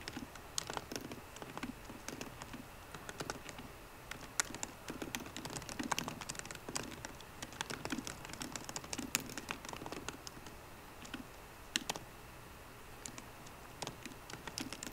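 A 13-inch MacBook Pro keyboard with plastic keys in an aluminum body is typed on quickly with the fingertips of both hands. The result is a steady, quiet stream of crisp, bright clicks and taps that stop dead with no ring, with a few louder key strikes standing out.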